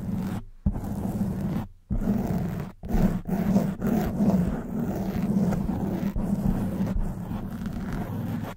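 A black foam microphone windscreen is scratched with long white nails, giving a dense, muffled scraping rustle with a strong low hum-like body. The scratching comes in repeated strokes broken by brief silences, with a steadier stretch of continuous scratching toward the end.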